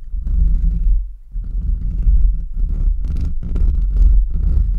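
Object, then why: Metal mesh microphone grille. Short nails and fingertips of both hands rapidly scratch the bare, hollow metal mesh grille of a large USB microphone. The result is a dense, boomy rumble centred low around 66 Hz, with a brief dip just after the first second. Later bursts carry a brighter, crackly scratch on top.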